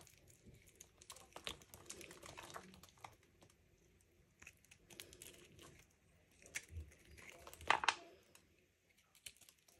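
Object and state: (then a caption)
Dry bar soap scraped into flakes. A small knife cuts and scrapes a solid, dry purple-pink Lux soap bar held in the hand over a wooden tray, shaving it into crisp flakes that fall onto a pile of soap shavings. Quiet, dry crinkling scrapes come in clustered bursts with bright, crackly detail and very short decay, the loudest cut landing near the end.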